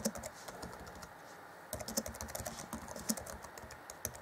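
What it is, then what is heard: Plastic laptop keyboard. Fingertips of both hands type on the black plastic chiclet keys of a 2014 Acer Chromebook C20 laptop keyboard. The result is a steady patter of short, dry clicks with bright tops and a soft low thud under each press, quiet through the first stretch, then briefly pausing before a denser, slightly louder run of keystrokes.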